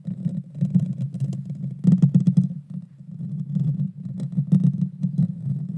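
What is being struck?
Metal mesh microphone grille.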